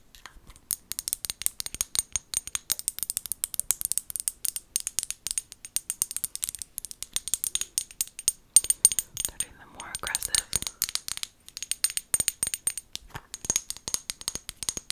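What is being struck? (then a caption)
Small glass bottle with plastic lid. Long gold nails tap and scratch a small amber glass bottle with a white plastic lid, held close to the mic. A rapid, steady run of crisp, bright clicks with almost no low end fills the clip, each tap dying away almost instantly. Around the ten-second mark a brief softer, scratchy rasp breaks through before the quick tapping resumes.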